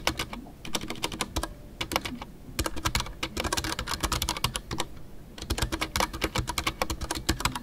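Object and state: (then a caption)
Mechanical keyboard with PBT plastic keycaps. Fingertips type continuously on a full-size Ducky One 2 mechanical keyboard with a white case, MX Brown switches and custom PBT plastic keycaps. The result is a steady stream of short, crisp clacks, each with a bright top and a low, muffled thock underneath. The rhythm dips briefly just before the halfway point and again near the end before picking back up.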